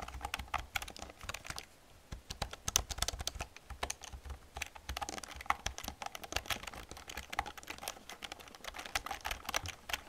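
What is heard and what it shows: Fingertips and long nails type rapidly on an old black plastic computer keyboard, making a dense stream of sharp, bright clicks and clacks. Each keystroke stops almost at once, with brief pauses between bursts and a faint low rumble underneath.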